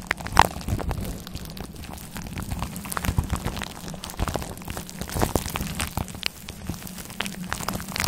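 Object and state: Faux fur microphone windscreen being scratched.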